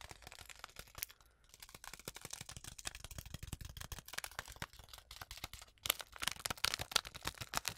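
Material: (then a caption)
Foil-lined paper. A small, flat, sealed Twinings tea packet, a foil-lined paper sachet full with its tea bag, is tapped and scratched with long acrylic nails. The result is a dense stream of fast, dry, bright clicks and crinkly scratches with almost no ring, briefly pausing twice and growing louder near the end.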